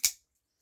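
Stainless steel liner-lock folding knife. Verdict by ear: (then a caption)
Solid. A budget Brother 1612 liner-lock folding knife with a 440C stainless steel blade is flicked open and snaps into its lock with a single sharp, bright click that dies away within a fraction of a second, followed by near silence and a faint trailing sound. The lock-up is solid, with no movement at all.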